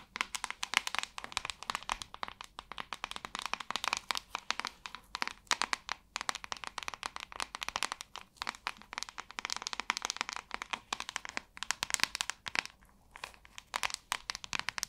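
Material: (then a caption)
Plastic. Long nails tap and scratch the glossy back of a large white hollow plastic paddle hairbrush. Rapid, dense bursts of sharp, bright clicks and crackly scratching come in uneven clusters with brief pauses. Each tap dies away almost instantly, with very little low end.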